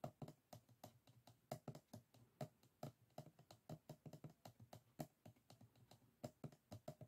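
Fingertips of both hands tap and scratch the rib edges of a small, closed bamboo folding fan, its stacked bamboo ribs and folded paper forming a solid stack lying flat on a wooden table. The result is a quick, irregular patter of short, dry, low-pitched clicks and knocks that stop almost instantly, much like typing on a keyboard.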